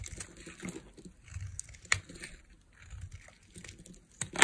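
A small metal blade carves a palm-sized solid white bar of dry soap held in one hand, with long nails visible, shaving off thin flakes. Soft, dry scraping and crinkly cutting sounds come in bursts, with a few sharp, bright clicks as flakes snap away. The scraping is mostly high and crisp, with little low rumble.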